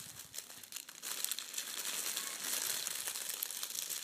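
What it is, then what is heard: Metallic foil wrapping paper. Fingertips press, scrunch and smooth flat a folded sheet of red metallic foil gift wrap on a table, with a gold edge showing underneath. The result is a dense, bright, crackling crinkle with almost no low end, growing louder and steadier after the first second.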